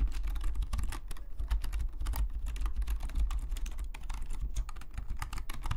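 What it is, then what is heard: Plastic membrane keyboard being typed on. Fingertips of both hands type steadily on a black full-size plastic Logitech membrane keyboard lying flat on a desk. The hollow plastic keys give a fast, continuous run of short, dry clicks and taps that die away almost instantly. Underneath sits a strong, steady low hum.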